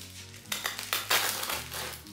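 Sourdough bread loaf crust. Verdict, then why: Crisp. A knife cuts a freshly baked, slightly cooled sourdough loaf in half, and the crust gives off a quick run of bright, sharp crackles and crunches over a faint low hum. The crackling shows the crust is crispy.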